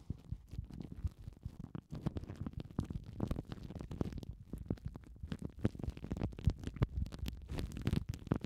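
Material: Plastic film.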